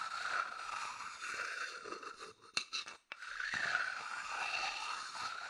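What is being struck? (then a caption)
Wooden bowl scraped with a wooden chopstick. A medium, hollow, empty wooden bowl held in the hand is scratched with a thin wooden chopstick. It makes a steady, dry, raspy scraping with a bright hiss and a rough tone around 1.5 kHz. Partway through it briefly drops away with a couple of sharp clicks before the scratching resumes.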